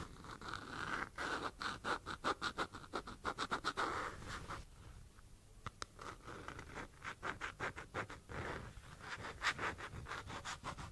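Long almond-shaped nails tap and scratch the side and lid of a small, hollow, apparently empty white plastic jar held in one hand. Rapid runs of sharp, hollow clicks and raspy scratches ring briefly with a mid-pitched plastic tone. The runs pause for a quieter stretch of soft scratching midway before the tapping resumes.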